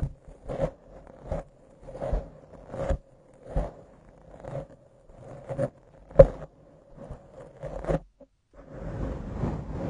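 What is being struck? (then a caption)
Foam microphone windscreen. Long acrylic nails grip and scratch a soft, porous black foam windscreen on a microphone, producing a series of short, muffled scratchy bursts. A faint steady midrange tone runs underneath, and the clip ends in a continuous rough rustling.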